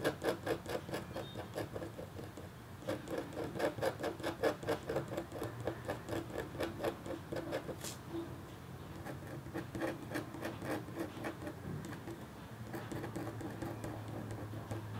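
A red-handled, metal-tipped stylus scratches across a flat, black-coated copper foil scratch art board in quick, short, irregular strokes. The sound is a quiet, dry scraping patter with a faint bright edge. It eases into softer, lighter scratching partway through, then picks up again.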